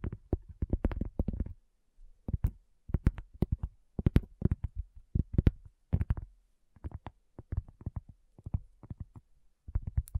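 Long fingernails of both hands tap on a round, flat, solid cork coaster. Rapid clusters of soft, dull, low taps come in bursts separated by short pauses, each tap dying away almost instantly.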